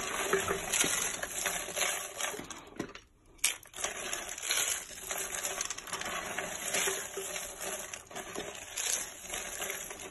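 Bare fingertips squeeze and crush a pile of hollow, curled dry soap shavings in white, purple and yellow on a flat surface, breaking them into flakes. Dense, bright, dry crackling and crunching continues almost throughout, with very little low end and a brief near-silent pause around the three-second mark.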